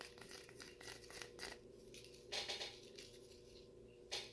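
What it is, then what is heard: Plastic cup of frozen cola. Fingertips tap and scratch the wall of a clear, frosted, medium-size plastic fast-food cup full of brown frozen cola slush, which is held in the other hand. Quick, bright, crinkly plastic taps come first, followed by softer scratching and a few louder rasping strokes. A faint, steady low tone sits underneath throughout.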